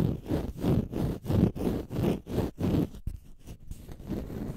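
A small green porous, solid konjac sponge puff is held in the fingers and scratched with fingernails. Steady, rhythmic strokes produce low, dense rasping scrapes with little brightness, then the scratching turns quieter and more broken toward the end.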